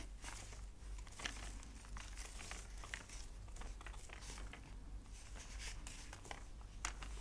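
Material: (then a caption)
Paper. Fingertips lift, rub and turn the thick aged paper pages of a large antique book lying open on a cloth. The pages give soft, bright crinkling and rustling with sharper papery snaps scattered throughout. A steady low hum sits underneath.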